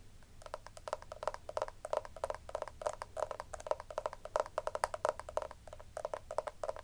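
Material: Plastic.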